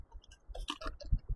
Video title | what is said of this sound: Braving the storms to package up this $100 game! #reseller #resellercommunity #ebayreseller #n64 | Make sure we don't hear a rattle when we shake it. Yep, we're good.